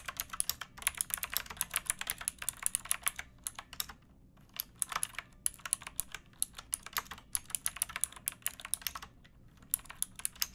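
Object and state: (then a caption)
Plastic mechanical keyboard being typed on. Fingertips with painted nails type on a pink backlit plastic mechanical keyboard with round keycaps and a hollow case, resting on a wooden box. Quick, bright, crisp clacks come in uneven bursts, each dying almost instantly, with short pauses near four and nine seconds.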